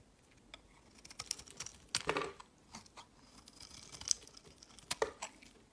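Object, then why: Bar soap. A snap-off metal blade scrapes and carves thin shavings from a solid, rectangular lavender soap bar held in the fingers. The result is a series of quiet, dry, crisp scraping strokes with bright, high hiss, little low end and no ringing, interrupted by a few louder scrapes.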